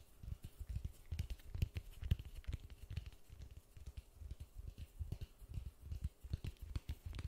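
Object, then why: Polystyrene foam ball. Gloved fingertips tap quickly on a large white polystyrene foam ball held in white-gloved hands. The taps make soft, dull, low thuds in a fast, uneven patter, each one dying away almost at once with only a faint bright edge.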